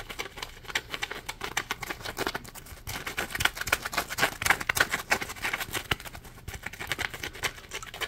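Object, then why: Polymer foam sponge. A palm-sized, solid yellow polymer foam Scrub Daddy sponge has its ridged edge scratched by fingertips, giving fast, irregular dry scratching and ticking. The sound is bright and crisp, with short clicks and a mid-range emphasis.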